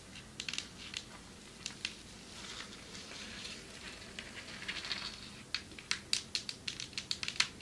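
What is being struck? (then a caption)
Marble table top. Long metallic nails tap on a marble table top, producing sharp, crisp, bright clicks that die away almost instantly. Softer scratchy, crinkly textures fill the gaps early on, and the taps grow louder and quicker in the last few seconds.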